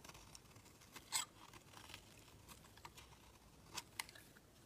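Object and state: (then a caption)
Bar soap being shaved. A utility knife blade shaves the edge of a solid white bar of soap, peeling off flaky curls. Quiet, bright, crisp scraping and crackling runs throughout, with a few sharper, louder scrapes standing out over a low hiss.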